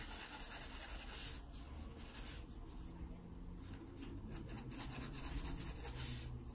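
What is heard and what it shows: A graphite pencil held at a low angle rubs soft shading onto a drawn pear on an open paper sketchbook page. The result is a steady, quiet, papery scratching hiss with high, bright grain over a low, muffled rumble, dipping briefly just after the first second before the strokes resume.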